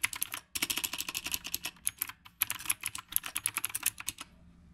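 Fingertips of both hands type continuously on a black retro typewriter-style mechanical keyboard with round plastic keycaps. The result is a rapid stream of sharp, bright clicks with very short decay, broken by two brief pauses.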